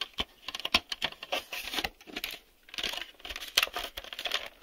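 Fingertips tap on the shell and the white reel hubs of a hollow, black hard-plastic VHS video cassette turned over to show its underside. The result is a quick run of light, bright, clicky plastic taps, some sharper than others, mixed with softer scratchy brushing between them. Each tap dies away almost at once, with almost no low end.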